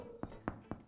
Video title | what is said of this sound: Haferflockenbrot glutenfrei [Rezept] | When the bread sounds hollow, the bread is ready.